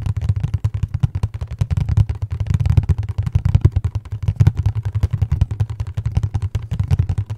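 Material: Cardboard.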